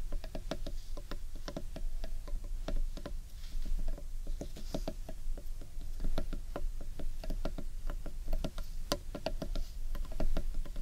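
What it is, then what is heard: Carved wooden bowl, hollow. Fingers and nails tap rapidly on the outer side of a large, hollow, carved wooden bowl held against the body. The taps are short and dry, with a brief hollow knock ringing out quickly over a steady low rumble, in a fast, uneven patter that runs throughout.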